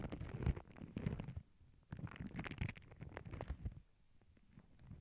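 Long glittery nails and fingertips rub, lift and scratch a thin white tissue paper sheet with black paw prints that lies over earbud mics on a cork board, crinkling it. The sound is close and muffled, mostly low, thumpy rustling with soft scratchy ticks, coming in bursts separated by two quieter pauses.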